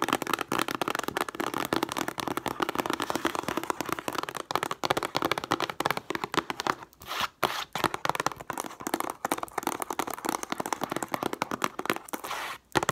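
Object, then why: Cardboard tissue box. Long nails rapidly tap and scratch the printed sides of a hollow cube cardboard tissue box with tissues inside, first while it stands on a table and then after it is lifted. The sound is a dense, crackly stream of short, dry taps and papery scratches with almost no low end, pausing briefly around seven seconds and again just before the end.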